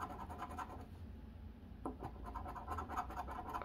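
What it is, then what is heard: Paper scratch-off lottery ticket. A coin held under the fingers scratches the coating off a flat cardboard Arkansas Lottery Double Cash scratch-off ticket lying on a wooden table, in short strokes. The quiet, dry rasping comes in quick bursts centered in the midrange over a low rumble, with a sharper scrape near the middle and louder strokes at the end.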